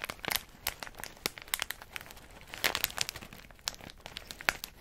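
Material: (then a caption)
Plastic. A medium plastic snack bag full of in-shell pistachios is held in the hand and squeezed and crinkled by the fingers and thumb. It gives bright, crisp crackles in quick irregular bursts with brief quiet gaps, and almost no low end.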